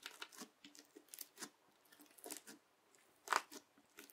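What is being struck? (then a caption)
Bead-filled slime pressed with a plastic knife. A yellow plastic knife held with long nails presses into and drags through a large flat patch of teal crunchy bead slime. Soft, bright crackling and crunching bursts come in a quick irregular series, with one sharper, louder crunch near the end and no low rumble beneath.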